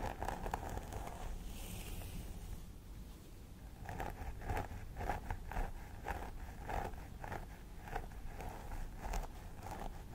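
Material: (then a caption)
Plastic. Long nails scratch along the centre part of a life-size plastic doll head with synthetic hair, using one hand or both. Soft, crisp scratching rustles repeat at roughly two strokes per second, each with a dry midrange crackle. A brief bright hiss comes near the start, and the strokes grow steadier and more pronounced after about four seconds.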